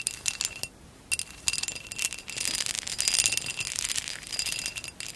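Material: Glass.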